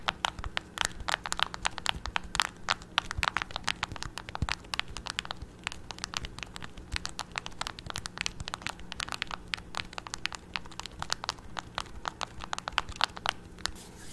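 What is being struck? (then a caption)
Plastic TV remote control with rubber buttons. A hollow black plastic TV remote with rubber buttons, held in both hands, has its buttons pressed repeatedly by fingertips. The result is a dense run of short, dry popping clicks with bright high crackle and little low end over a faint steady hum.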